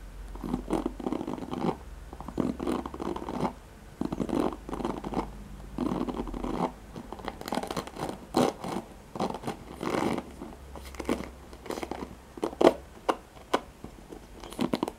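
Fingertips and nails scratch and strum the nylon pin bristles of a handheld black oval plastic paddle hairbrush held close to the microphone. Bursts of dry, raspy scratching and crackly strumming come in quick uneven strokes, with occasional sharper clicks and a faint low hum underneath.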